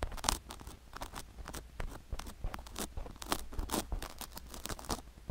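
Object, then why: Silicone ear microphone coated in sugar, scraped with a wooden stick. A flat wooden stick scrapes the sugar granules coating a silicone ear microphone near its canal. It makes a quick, close run of gritty crunches and scratchy rasps, with bright crackling bursts over a low rumble. The grains grind and crackle under the stick the whole time.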